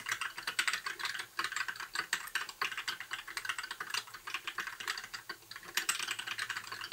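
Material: Plastic.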